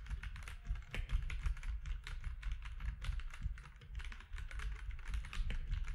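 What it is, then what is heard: Plastic mechanical keyboard being typed on. Fingertips of both hands type steadily on a compact plastic mechanical keyboard with grey, white and orange keycaps. The result is a rapid, continuous stream of short, sharp keystroke clicks over a deep, thuddy low-end body, with each strike dying away almost instantly.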